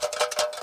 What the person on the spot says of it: When you shake it, it sounds like there's something in it.